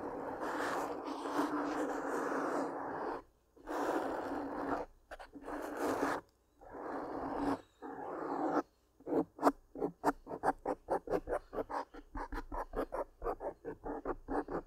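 Long pink-painted nails scratch a soft black foam windscreen over a large microphone. Several seconds of dense, rasping scratches in long strokes give way to quick, rhythmic bursts of short scrapes. The sound is a close, dry, midrange scratching with little low end.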